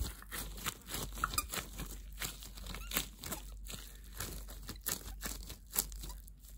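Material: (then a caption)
Plastic. Hands wearing thin, translucent clear plastic disposable gloves squeeze and scrunch the loose glove material. The result is a steady run of crunchy, crinkly bursts with bright, high crackle, over a constant low hum.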